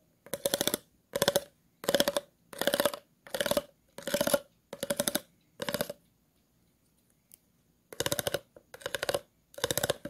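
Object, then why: Grooved plastic water bottle. The tip of a scissors blade scratches across the grooves of an empty, hollow, clear plastic water bottle, making eleven quick rasping strokes. Each stroke is a fast, ratcheting run of clicks with a hollow resonance near 560 Hz and bright crackle above. A quiet gap with a single faint tick comes before the last three strokes.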